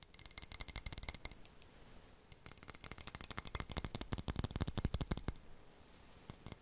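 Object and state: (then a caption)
Floor tile tapped. A floor tile is tapped in quick bursts of dry, clicky taps that die away almost instantly, with bright high-frequency ticks. A fast run of taps at the start gives way to a short quiet gap, then a longer, louder run, and a few last taps close the clip.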